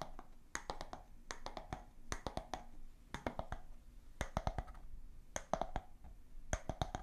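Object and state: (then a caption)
Bamboo jar lid. A round bamboo lid from a glass jar is held close to the microphones and tapped with long nails and fingertips. Quick clusters of dry, woody clicks come in bursts, each with a hollow tone around 650 Hz that dies away almost instantly. Bright nail ticks sit on top of a soft low rumble.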